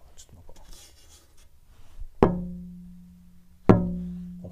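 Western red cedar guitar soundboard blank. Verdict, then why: Resonant. An AAAA-grade Western red cedar classical guitar soundboard blank is tapped while searching for a good resonance spot, after some quiet handling noise. Two sharp taps each ring out with a sustained, slightly metallic low tone near 180 Hz, and a third tap begins at the very end. The lively, ringing tap tone suggests a good-quality board with straight, tight grain.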